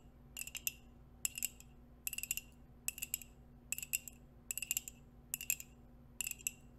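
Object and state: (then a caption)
Ceramic coffee mug. A white ceramic coffee mug with a dark rim, hollow and held in both hands near the mic, is tapped and scratched with long acrylic nails wearing metal nail rings. Eight short bursts of quick, bright clicking taps stop almost instantly, with very little ring. Between bursts a quiet, steady low hum continues.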